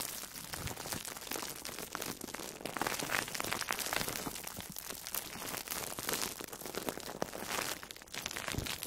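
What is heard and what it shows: An orange-slice-shaped foam sponge wrapped in plastic food wrap is squeezed and scratched with long nails. Dense, continuous crinkling and crackling fills the clip with bright, hissy texture and little low end, swelling and easing as the pressure changes.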